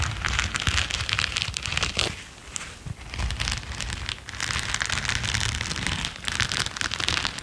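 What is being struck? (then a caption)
Latex-coated knit work gloves. A pair of grey latex-coated knit work gloves with red knit cuffs, worn on both hands, is rubbed and brushed together. The result is a steady, dense, scratchy crackle with a bright hiss, easing briefly around the two-to-three-second mark before building again.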